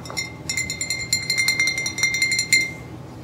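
A dark glass wine bottle with a Papastrello label, held upright, is tapped repeatedly by the fingertips of a hand in a fingerless glove. It gives a quick, uneven run of light, bright clinks, each ringing briefly at a clear tone near 2.1 kHz with high overtones. The taps fade out softly at the end.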